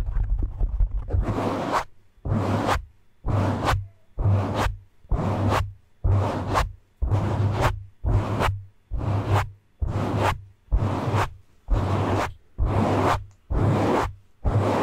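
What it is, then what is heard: Foam microphone windscreen being rubbed. Both hands cup, grip and slowly rub a black foam windscreen on a microphone with fingertips and palms. After a quiet first second, 13 separate swishy rubbing strokes follow at a steady pace of about one per second. Each stroke carries a deep, boomy low rumble under a soft, breathy hiss that reaches up into the highs.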